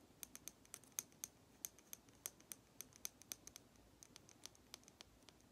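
A small, hollow, red lacquered wooden matryoshka doll with a blue flower is held in one hand and rapidly tapped with long nail tips. The result is quick, quiet, bright clicks in an uneven rhythm, each one dry and gone almost instantly, with no ring.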